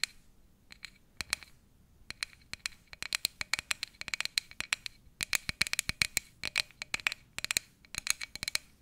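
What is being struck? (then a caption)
Empty frosted plastic cup. Fingernails scratch and tap the sides and base of a tall, empty, frosted plastic cup. The result is a quick, irregular run of sharp, dry clicks and short scratches, bright and high with almost no low end. Each one dies away almost instantly.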